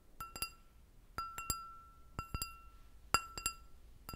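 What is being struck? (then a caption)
Empty stemmed glass goblet. An empty clear glass goblet with a short stem is tapped repeatedly with long nails. The taps give a series of bright glassy clinks, each with a clear ringing tone that lingers faintly between the hits, in uneven groups of two or three across the clip.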